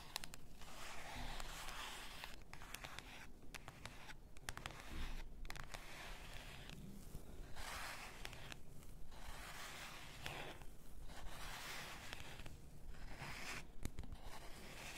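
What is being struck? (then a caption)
Glass bath salt bottle. Long nails scratch the label area of a full bath salt bottle, likely glass, then tap along its sides. The result is a quiet, steady stream of dry, bright scratching in short bursts with brief gaps, over a soft low rumble, and small sharp taps that die away at once.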